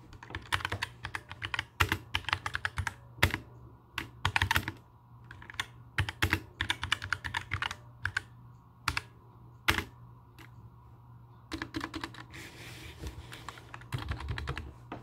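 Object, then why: Mechanical keyboard with plastic keycaps. Both hands type with their fingertips on a compact black mechanical keyboard with plastic keycaps, resting flat on a wooden table. Bursts of quick, bright clacking keystrokes with short, dry clicks and occasional louder thocks pause briefly near the middle before resuming more softly. A low, steady hum runs underneath throughout.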